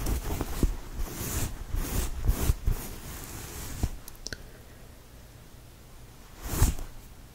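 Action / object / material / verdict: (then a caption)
scrape / cotton knit t-shirt / cotton / none. Fingertips scratch and rub a fold of a purple knit cotton t-shirt up close, making quick bursts of dry scratchy rustling over a low, muffled rumble. The scratching is busy for the first four seconds, then drops to a quiet hiss with a couple of faint ticks, before one last louder scratch near the end.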